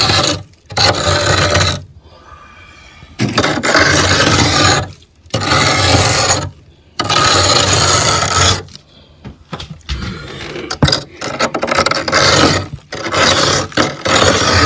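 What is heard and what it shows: A metal spoon held in the fingers scrapes a thick, solid layer of frost ice on the ceiling of a freezer compartment. The result is long bursts of harsh, broadband rasping, separated by short quiet pauses, with choppier, uneven scraping toward the end.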